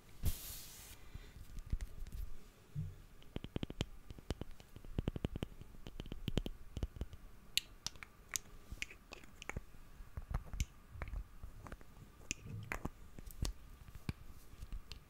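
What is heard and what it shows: Fingernails tap and click on a small black glass perfume bottle with a gold metal cap. The result is a quiet, irregular run of dozens of short, dry clicks with no ring, each with a crisp bright edge around 2.9 kHz over a soft low thump.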